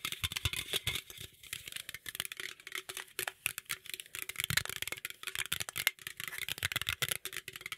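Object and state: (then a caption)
Aluminum drink can, scratched and tapped. A green aluminum beverage can is held close to the microphone while nails and fingertips rapidly scratch and tap its sides and lid. The result is a dense, fast stream of bright, crinkly scrapes and short, hollow clicks, with little low end and almost no ring after each hit.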